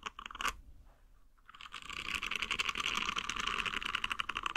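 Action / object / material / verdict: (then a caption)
scrape / silicone nub scrubber / silicone / none. A green silicone nub scrubber is scratched with the nails and fingertips, giving a few short scratches, a brief quiet pause, then a dense, rapid run of crisp scraping. The scraping grows louder and stays bright and textured, with little low end and no ring after each stroke.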